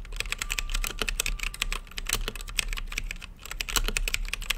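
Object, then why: Mechanical keyboard with plastic keycaps and acrylic case. Fingertips type on a full-size mechanical keyboard with Gateron brown switches, plastic keycaps and a translucent backlit acrylic case. Rapid, uneven key presses make crisp, bright clacks with a steady low thud beneath. Each press stops short with no ring.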